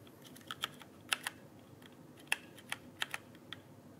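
A full-size backlit mechanical keyboard with plastic keycaps on a rigid frame, held upright near the microphone, is pressed and tapped with fingertips. About ten short, bright plastic clicks come at an uneven pace, each dying away almost instantly over a faint steady hiss.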